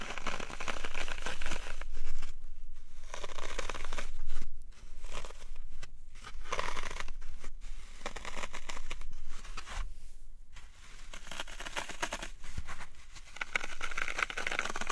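Fingertips repeatedly press into the sides and top of a dry, solid, porous green floral foam cube, crushing small dents into it. Dense, crunchy crackling compressions come in bursts with brief quiet gaps, each crunch a broadband crinkling texture with a bright edge.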